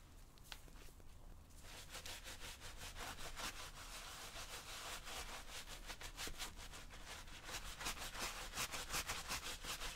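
A tan suede/nubuck leather tactical boot, worn on the foot and wet with cleaner, is scrubbed back and forth with a hand-held bristle brush. After a quieter first second and a half, rapid, fairly regular brushing strokes set in, about three per second, each a bright, scratchy rasp over a low steady background hum.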